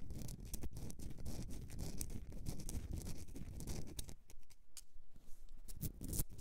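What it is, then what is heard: Himalayan salt candle holder. Long nails scratch a Himalayan rock salt candle holder, making a dense, continuous rasping with a heavy low rumble and sharp bright clicks. After about four seconds the holder is lifted and held in the hand while still scratched, and the sound becomes thinner and sparser, with isolated crisp high ticks.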